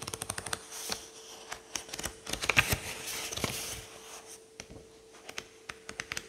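A thumb bends a stack of pages in a thick paperback book held open on a table and lets them riffle off one by one. Quick, crisp, bright paper flicks come in rapid bursts, thickening into a dense flutter in the middle before thinning back to scattered snaps. A faint steady hum sits underneath throughout.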